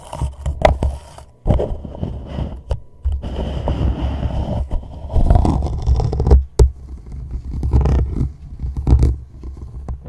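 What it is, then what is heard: Empty plastic cup, tapped and scratched. An empty, hollow white plastic reusable cup sits upside down over a microphone head while fingertips tap and scratch its sides. The result is a series of close, muffled, boomy taps and rough scraping sounds, heavy in the low end, with short bursts of dry scratching between sharper knocks.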